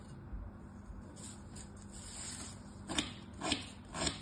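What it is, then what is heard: Kinetic sand being cut. A thin metal tool scores lines into a flat, solid star of packed kinetic sand lying on a striped cloth, with fingertips holding it in place. Quiet, gritty scraping and rubbing build into three sharper, brighter crunching scrapes near the end.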